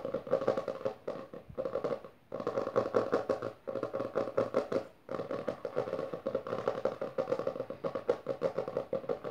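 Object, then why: Hardcover book with textured cover. Long dark nails on both hands tap and scratch fast across the maroon textured cover of a closed hardcover book resting on purple satin. The result is a dense stream of quick, dry, wooden-sounding ticks centered in the midrange, mixed with scratchy rustle. Brief pauses break the stream around the 2-, 3.5- and 5-second marks.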